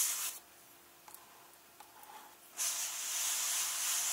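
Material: Paper.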